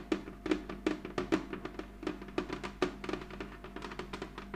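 Long acrylic nails on both hands tap and scratch a medium, flat, hollow heart-shaped box of clear red plastic lying on a cloth-covered table. The result is a quick, irregular run of sharp, hollow clicks with a woody tone near 305 Hz, each dying away almost at once, with faint scratching between taps.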